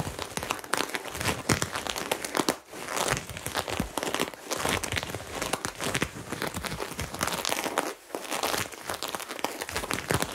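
Fingertips and nails scratch across the sequin lettering patch on a white cotton crop top worn on the chest. The result is a steady, dense crinkling and rasping with bright, crisp texture, broken only by brief pauses near 2.6 and 8 seconds.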